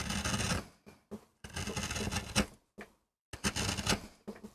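A wooden-handled metal gouge carves and scrapes across a small, flat, solid MDF board in repeated strokes. Bursts of gritty, broadband scraping, bright at the top with a low rasp underneath, are separated by short quiet gaps and a longer pause before the carving starts again.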